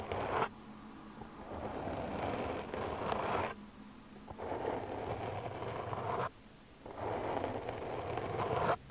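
Long dark-painted nails scratch the surface of a black foam microphone windscreen, which is soft and porous. The result is a close, crackly rustling and scraping in broad waves of several seconds each, separated by short quiet gaps.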